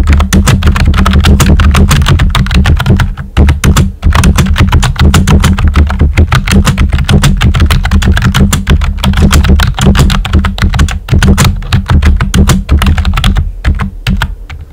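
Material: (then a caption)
Plastic. Fingertips with short nails type steadily on a full-size, hollow-bodied pink plastic computer keyboard with round white typewriter-style plastic keycaps. The result is rapid, irregular plastic clicks and clacks over a strong low hum that lasts the whole clip, with brief pauses near the middle and end.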